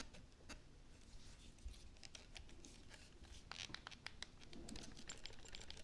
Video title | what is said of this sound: présentation carabine browning SA 22 calibre 22 short | j'ai essayé de la secouer un peu pour vous faire voir qu'elle a un petit peu de jeu